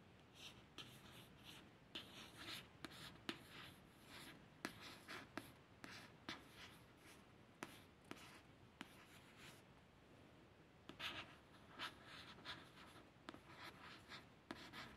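A long run of brief, papery scratches, bright and hissy with almost no ring, comes from a fingernail tracing over a glossy paperback cover. The stiff coated card gives a crisp, dry scrape. A small room is faintly audible.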